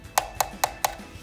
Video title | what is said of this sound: Alfa Romeo 4C 1/18 AutoArt Review | if you tap here it sounds like plastic whereas metal you know you know the sound of the metal